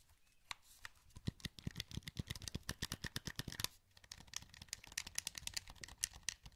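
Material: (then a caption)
Plastic. A wired, hollow black plastic PS2 controller is held in both hands while the thumbs click its buttons and rotate its sticks. The result is a rapid series of sharp, bright plastic clicks and taps with a brief pause in the middle, then softer scratchy stick movement among more clicks.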